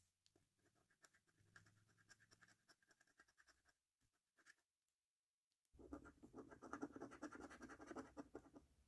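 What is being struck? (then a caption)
Paper lottery scratch card. A coin edge held in the fingertips scratches the coating off the order numbers and game panels of a thin, flat paper £1 Million Snack Stack National Lottery scratch card resting on a wooden table. Light, rapid rasping strokes run for about four seconds, then fade into near silence with a couple of faint scrapes. From almost six seconds to the end, louder, denser scratching follows with a gritty midrange texture.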